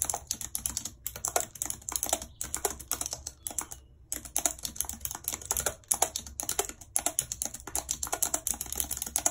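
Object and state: Plastic computer keyboard.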